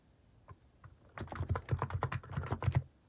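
Fingertips type continuously on a plastic mechanical keyboard fitted with cat keycaps, starting with two soft isolated taps before a steady run of keystrokes. Each key gives a short, deep, thocky clack with a quick click on top and almost no ring, the sound sitting mostly in the low range.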